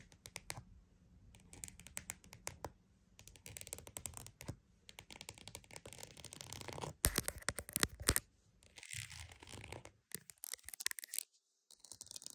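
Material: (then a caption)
Leather. A croc-embossed purse is tapped and scratched, making quick, dry, crackly bursts with bright high hiss and a soft low thump under them. The scratching comes in dense runs split by short quiet gaps, with a louder stretch of sharp scrapes partway through.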